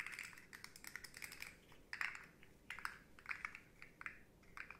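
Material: Plastic.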